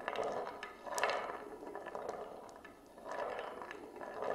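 A glass marble rolls along the rim groove of an oval wooden plate that is tilted level with the camera. The result is a continuous, hollow rolling rumble centered in the low mids, rising and fading in waves as the marble circles. Small bright clicks ride on top of the rumble.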